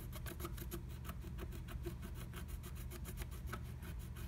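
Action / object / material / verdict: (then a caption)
scrape / wax-coated scratch art paper scraped with a wooden stylus / coated paper / none. A wooden stylus scratches the coating of a flat, black-coated scratch art sheet through a blue butterfly stencil cutout. Quiet, rapid, raspy scratching strokes repeat over a steady low rumble, with short bright bursts on each stroke.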